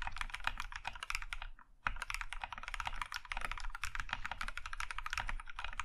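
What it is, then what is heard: Mechanical keyboard with plastic keycaps. Both hands type quickly with their fingertips on an Iron 165 compact mechanical keyboard with a maroon metal case and cream plastic keycaps. A dense stream of short, bright clacks comes with a low thock under each stroke. The typing pauses briefly about a third of the way in, then resumes at the same steady pace.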